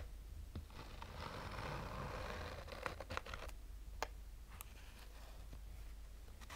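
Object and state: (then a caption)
Fabric-covered hard-shell sunglasses case. Short fingernails slowly scratch a black, oval, fabric-covered hard-shell sunglasses case with a textured surface and a hollow rigid shell. A soft, steady scratchy rasp rises and fades, broken by a few sharp, bright ticks and clicks.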